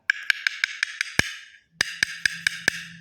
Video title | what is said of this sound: kapak tiles challenge accepted..eto nanyung request saten Ng mga nag comment saten | ganito ang tunog ng kapak. Wala pa laman to kasi papalitadahan pa yan